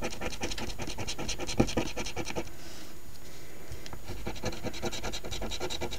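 A coin edge held in the fingertips scratches the latex coating off the gift-box panels of a thin, flat paper $10 Ontario OLG "Wish List" instant lottery ticket (#2450), which lies on a table held down by one hand. Quick, rhythmic rasping strokes fill the clip, easing into a softer, quieter stretch in the middle before the brisk scratching resumes.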